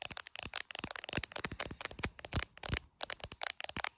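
Long acrylic nails tap fast on the glass camera module and clear plastic case of a handheld iPhone. A rapid run of about twenty sharp, bright clicks comes in uneven bursts, each dying out at once with no ring, with a light crackly texture between them.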